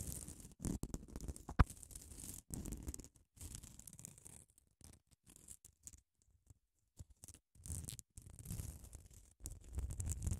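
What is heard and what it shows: Long acrylic nails scratch across the abrasive grit surface of a small grey solid foam nail buffer block held close to the mic. Bursts of dry, rasping scratches come and go with short quiet gaps, heavy in low rumble with a faint bright hiss, plus one sharp click early on.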